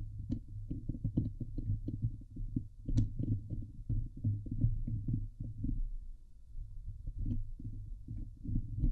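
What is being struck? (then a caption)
Steel wire-mesh microphone grille. Fingertips and nails scratch and press the hollow steel wire-mesh grille on the head of a Blue Yeti microphone. The result is a dense run of deep, muffled thumps and rubbing scrapes, heavy in low-frequency rumble around 113 Hz, with occasional faint bright ticks from the nails on the wire.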